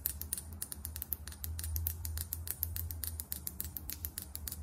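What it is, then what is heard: Foundation bottle with plastic cap. Long acrylic nails tap quickly on a small, filled foundation bottle with a matte plastic cap. About 33 short, bright, clicky taps come at roughly four per second in an uneven rhythm. Each tap dies away almost instantly over a steady low hum.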